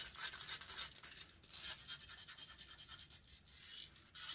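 Long nails scratch and rub rapidly across the hollow metal mesh grille of a silver condenser microphone, close up. The result is a bright, hissy, high-pitched scraping made of quick, uneven strokes with almost no low end, each stroke dying away at once without ringing.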